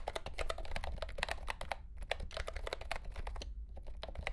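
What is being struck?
Plastic mechanical keyboard with round keycaps.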